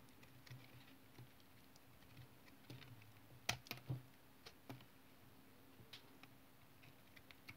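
A utility knife blade carves a solid, translucent brown bar of tar soap held in the hand, making short scraping cuts. Quiet, irregular crisp scrapes and clicks, a few sharper and brighter than the rest, sit over a steady low hum.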